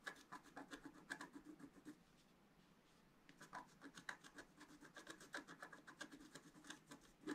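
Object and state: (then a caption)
Scratch-art paper being scratched. A pointed wooden stylus scratches across a thin, flat, solid sheet of black wax-coated scratch-art paper lying on a table and held down by one hand. It makes quick, dry scratching and rubbing strokes with a bright, rasping edge and a tone near 1.6 kHz. The strokes pause for about a second in the middle, then resume in a steady run.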